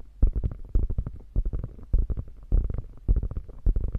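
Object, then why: Quilted faux leather bag with padded panel. Long painted fingernails scratch and tap the hollow, padded top panel of a beige quilted faux leather crossbody bag. The result is quick, irregular runs of soft, dull, low thumps with a faint rustle, each burst opening with a stronger tap and dying away almost instantly.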